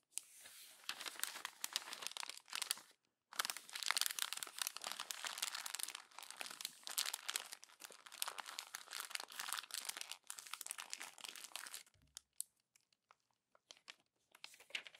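A hand scrunches the pages of a glossy paper magazine into a crumpled bundle at the spine. Dense, bright crinkling and crackling runs almost continuously, broken by a short silence near three seconds. After about twelve seconds it thins to sparse, sharp crackles.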